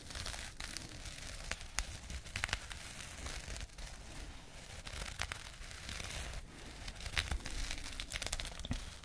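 A small, flat, soft burlap jute pouch with a label is scratched with long painted nails, giving a dry, continuous rough scratching and rustling. Short bright crackling flicks stand out over a low, steady rumble.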